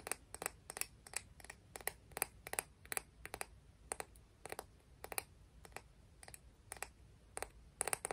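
A clam shell from the beach is tapped and scratched, giving about thirty quick, dry, bright clicks, often in close pairs, with very short ring and a faint scratchy hiss between them. The taps are quiet and evenly spaced across the clip.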